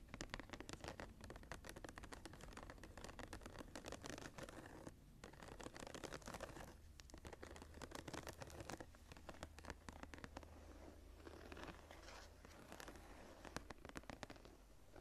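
Fingertips tap and scratch the cover of a closed brown embossed leather journal set with a blue stone. Quick, dry taps and raspy scratches run densely and steadily throughout, each dying almost instantly, over a faint low hum.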